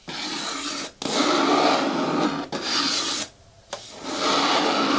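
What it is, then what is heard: Hard plastic bucket scratched with fingernails. Fingernails scratch and rub along the side edges of an upright green hard plastic bin with a lid and a handle. Four sustained, rasping passes of broadband scraping are each separated by a brief pause, with a quieter gap before the last one. The scraping carries a bright, hissy top end.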